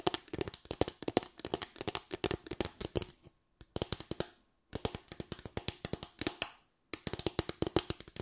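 Long white nails rapidly tap and scratch a small, light bamboo board with raised slats, giving about fifty sharp, dry clicks with a hollow woody tone and bright edges. The tapping comes in quick bursts broken by short pauses, and the board is lifted toward the camera at the end.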